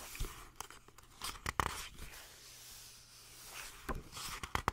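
Long nails scratch and rub the printed paper pages of a paperback manga book with a glossy colour cover, then turn the pages. Quiet, dry papery scratching and crinkling is punctuated by sharper, brighter taps and crisp page-turn rustles near the start and end.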